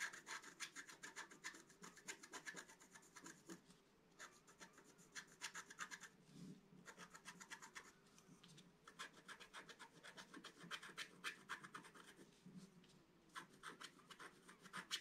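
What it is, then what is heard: Scratch-art board being scratched. A wooden stylus scratches foliage lines into a flat black-coated scratch-art card in continuous scratching strokes. Quick runs of bright, dry, rasping scrapes come in bursts, separated by a few brief pauses.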